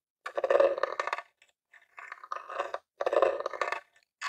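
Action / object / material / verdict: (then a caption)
tap / plastic game console casing / plastic / none. A metal claw nail taps on a grey plastic Nintendo mini console, a hollow box, first on the lid and then on the front near the controller port. Quick bursts of dry, hollow plastic clicks with a midrange tone and bright edges come in separate clusters with brief pauses between them. Each tap dies away almost at once.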